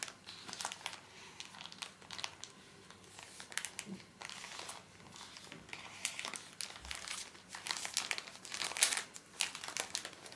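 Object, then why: Pocket tissue pack in soft plastic film. A small, soft plastic-film pocket pack of paper tissues is squeezed and rubbed with the fingertips so the film crinkles. The result is quiet, irregular bursts of bright, crisp crinkling that come and go over the whole clip, with almost no low end.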